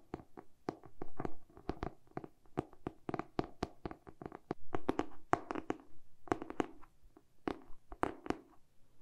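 Short painted nails tap quickly along the dark glossy cardboard cover and spine of a solid hardcover book, turned to show its back. The result is a rapid, uneven run of dry, hollow clicks with mid-range body that cut off almost instantly, some taps louder and brighter than others.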